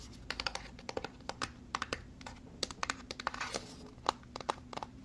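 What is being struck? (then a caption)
Small cardboard box. A small white cardboard box is scratched and tapped with long fingernails. Quick, crisp clicks and taps land in an uneven, rapid series over soft scratchy rustling. Each tap is dry and dies away almost instantly.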